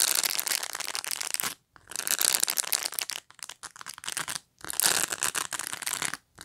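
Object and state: Plastic pet brush bristles flicked.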